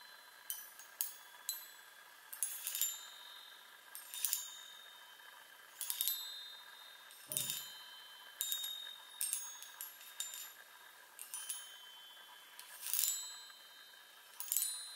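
Long nails tap the hollow metal tubes of a small handheld chime on a wooden frame, making roughly twenty-two bright, tinkling strikes at an uneven pace. Each tap rings high and fades quickly, with a soft, lower thump heard once midway.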